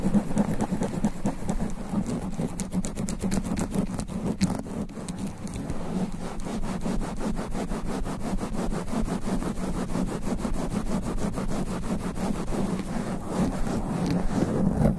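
Both hands wrap around the black foam sponge cover on a large standing microphone, rubbing and scratching it fast and aggressively with extra long black nails. The result is a continuous, dense, rapid scratching and rubbing with a heavy low, muffled rumble around 200 Hz and little high-end brightness, holding steady for the whole clip.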